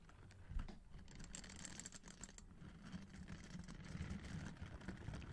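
Fingers rub and scratch the bristles of a hand-sized orange silicone scrubber brush with a handle, held close to the mic. The result is a soft, continuous crackling and scraping texture with bright, fizzy edges over a steady low rumble, with a slightly louder scratch near the start.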